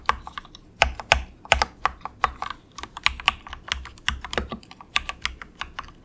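A compact 68-key plastic mechanical keyboard with a hollow case, resting on a desk mat, is typed on with the fingertips of both hands. Quick, bright, clacky keystrokes come in an uneven stream, each dying away almost at once, with a slightly hollow tone.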